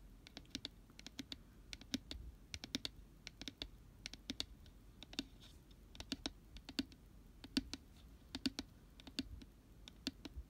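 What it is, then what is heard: Empty cardboard gift box. Fingertips and nails tap the inside wall and base of an empty, hollow, round glitter-pink cardboard cupcake gift box with a white paper lining, held on its side. A steady run of quick, dry, clicky taps in an uneven rhythm, each short and bright with a faint hollow body and almost no ring.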